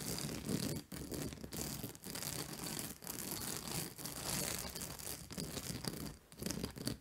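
Long nails scratch across the white plastic spike discs of a large purple fabric acupressure mat lying flat on a lap. The result is a dense, bright, rasping scratch that runs in steady strokes, each broken by a brief pause.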